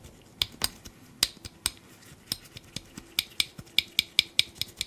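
A small black metal binder clip with silver wire handles and a solid spring is held in black nitrile-gloved fingers while its handles are pressed, flipped and clicked against the clip body. About 15 sharp, bright metallic clicks ring out at irregular intervals, each very short and dry, with a high ping near 3.5 kHz. There is almost no low end.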